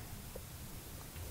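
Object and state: Nothing is struck.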